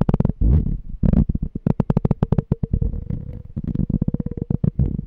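A small, clear, empty glass jar with a pink label is held sideways while short fingernails and fingertips tap and scratch its glass body. Rapid, dull taps with a faint ringing tone run throughout, mixed with brief scratchy passages. The sound is mostly low and muffled, with very little bright content.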